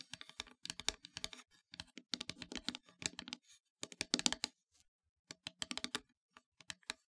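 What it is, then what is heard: Painted wooden heart plaque tapped with nails. Long nails tap rapidly on the surface of a solid, flat, black-painted wooden heart plaque. They make quick bursts of bright, dry clicks separated by brief pauses, and each tap dies away almost instantly.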